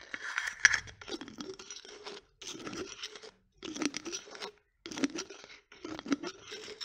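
A small, partly full glass coffee jar with a black plastic lid is tapped, scratched and twisted by long nails. Dry, crunchy scraping comes in six bursts separated by short silences, with sharp clicks and a bright, gritty texture. At the end the lid is still being unscrewed.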